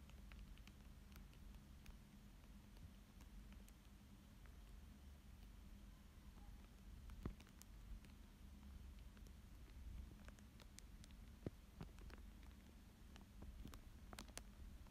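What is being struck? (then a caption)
Thin plastic sheet over paper. A thin dark tool traces and scratches across a thin clear plastic sheet lying flat over a coloured fish drawing. Faint soft scratching and light crinkly ticks sit over a steady low hum, with a few sharper clicks standing out. The overall level stays very quiet.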